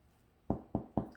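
Three dull, hollow thuds as the crust of a baked pumpernickel rye loaf is tapped after cooling on a wire rack for at least an hour, following 40 minutes of baking. Each tap is a short, low, muffled knock with no bright ring. The hollow sound shows the loaf is well baked through.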